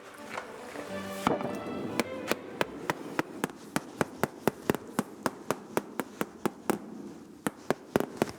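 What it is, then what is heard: Sound, homogeneous Parmesan cheese wheel. In a cheese ripening room, a small hammer taps a Parmesan wheel in a steady run of short, dry knocks, checking it for cracks or small holes. The wheel does not sound hollow, and the tone stays the same from spot to spot, so it is judged homogeneous and exceptional. Brief music plays before the tapping begins.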